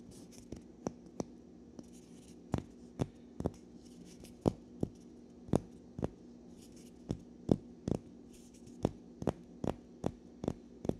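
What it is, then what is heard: Natural cork wine stopper. A solid cylindrical natural cork wine stopper with printed text is held in both hands while fingernails scratch and rub along its side. Short, dry scratches and taps recur at an uneven pace over a steady low hum, with faint bright rasping between them.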